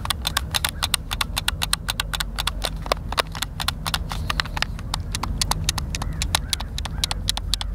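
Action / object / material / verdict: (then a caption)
tap / plastic game controller buttons / plastic / none. A white, hand-sized, hollow plastic Xbox controller is held in both hands while fingertips and thumbs press and click its buttons. A quick, irregular run of short, sharp, bright clicks stands out over a steady low rumble, each click dying away almost instantly.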